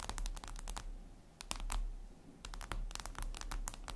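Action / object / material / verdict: tap / glass tablet screen / glass / none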